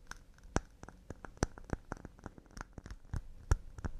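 Wooden cups made of pine are tapped quickly and delicately with a rapid, uneven series of short, dry taps. Each tap is quiet and brief with almost no ring, carrying a low, muted thump beneath a faint bright click, and a few land noticeably harder than the rest.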